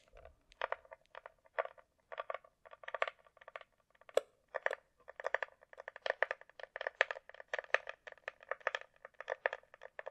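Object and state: Hard plastic glasses case tapped with nails.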